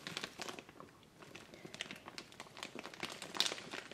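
A large, full, soft clear plastic bag of soy wax flakes with a paper label is rubbed and scratched by flat hands with long painted nails. It gives off bright, dense crinkling with many quick crackles over a quiet, soft level. There is a brief lull near the one-second mark, and the sound grows slightly busier toward the end.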